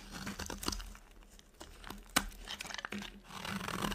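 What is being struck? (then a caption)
Soap bar cut with a knife blade. A utility knife blade carves a dry, solid white soap bar, making dry scraping and crunchy crackling cuts with sharp, bright clicks that die away almost at once. Toward the end, cut slabs of the bar are snapped apart by hand with crisp cracks and crumbling, over a faint steady low hum.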